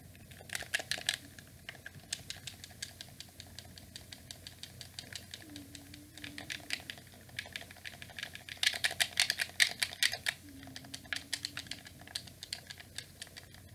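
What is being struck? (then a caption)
Plastic gamepad buttons and triggers. Thumbs and fingertips rapidly press and click the buttons and triggers of a hollow black plastic wired gamepad held close in both hands. The result is a fast, irregular stream of short, bright plastic clicks and taps with almost no ring, with louder bursts around the middle and later part over a faint low hum.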